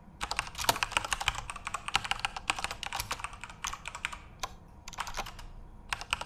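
Both hands type rapidly with their fingertips on a full-size Corsair RGB-backlit mechanical keyboard with plastic keycaps. The result is a dense run of bright, sharp clacks that die away almost instantly, with a couple of brief pauses between bursts.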